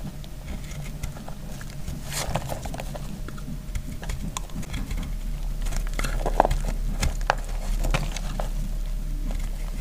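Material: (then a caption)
Soap. A hand-sized block of dry, speckled green soap is held in a hand with long blue-painted nails and cut with a metal utility knife blade, shaving off crumbly flakes. Rapid, irregular dry crackles and scratchy scrapes ride over a steady low rumble, with a few sharper, brighter snaps partway through. The cutting grows slightly louder toward the end.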